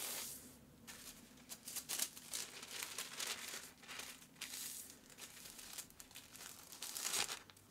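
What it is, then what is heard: Kraft paper wrapping being folded. Fingertips fold the flaps of a sheet of brown kraft paper around a wrapped flat package resting on a cutting mat, creasing them and rubbing them flat. The result is soft, bright, papery crinkling and rustling in short, uneven bursts, with sharper crackles near the end.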